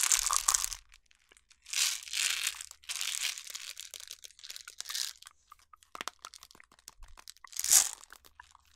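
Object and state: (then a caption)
Plastic jar full of jelly beans. A clear plastic jar with a yellow lid, full of jelly beans, is shaken and rotated by hand close to the mic so the candies rattle inside. Bright, crunchy rattling bursts come in waves, separated by scattered light clicks and ticks, with almost no low end.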